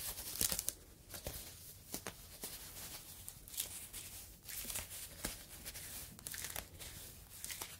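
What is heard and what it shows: A yellow foam fruit protective net, a mesh sleeve, is stretched open and squeezed with both hands. It gives quiet, bright crinkling and crackling with many short snaps and rustles across the clip.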